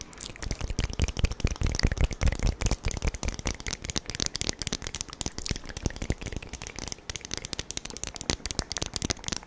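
Long acrylic nails rapidly tap and scratch along a small, glossy magenta metal tube, like a lipstick case, held horizontally. The result is a dense, irregular stream of short, dry clicks with a soft low thump under each one and a bright, crackly scratch on top. The tapping is strongest in the first few seconds and then continues more lightly.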